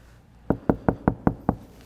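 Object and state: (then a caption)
Sound-deadened car body panel, damped. Six knocks on a steel body panel of an Audi SQ5 that has been fully covered with a 3M sound deadening layer. Each knock is a short, dull thud with low body and almost no ring. The panel sounds damped and solid, unlike the resonant untreated panel beside it.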